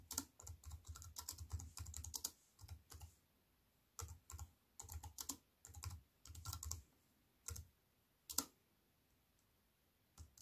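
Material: Plastic, aluminium.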